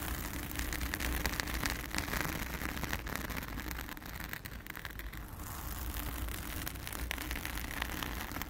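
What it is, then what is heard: Foam microphone windscreen being scratched. Long acrylic nails of both hands scratch and rub a soft, porous round blue foam windscreen over a microphone. The result is a dense, continuous crackling hiss with a strong low rumble near 70 Hz and fast, irregular scratchy bursts that dip slightly in the middle before picking up again.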